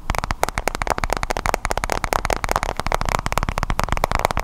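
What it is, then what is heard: Glass-screen tablet tapped. Fingertips and nails tap rapidly and continuously on a white-bezel iPad tablet with a glass screen and metal back, held behind the microphone. The result is a dense run of short, dry clicks and knocks, each with a low thump and a brief midrange tick that dies away almost instantly.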